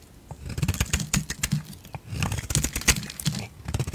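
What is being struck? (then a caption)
Bar of soap. A utility knife blade shaves thick curls off a solid yellow bar of soap held in the hand. Short, crisp scraping strokes follow one another in two bursts, each with a dull low body and a bright, papery edge.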